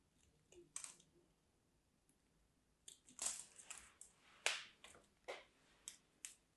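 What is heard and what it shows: A solid, dry, mint-green striped bar of soap, held in hands with black nails, is scraped and cut with a small craft knife. About eleven crisp, bright crunching scrapes and cuts are heard, each a short, dry burst. The gaps between them are near silent, with no low end.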